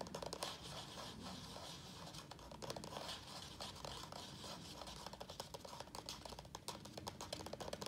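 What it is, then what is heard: Thin plastic plant nursery pot. Fingertips tap quickly on the side of a small, thin-walled black plastic nursery pot, full of soil with a prayer plant in it, held in both hands. The result is a quiet, fast, uneven stream of light, dry, crackly taps with a scratchy, bright edge, each dying away almost at once.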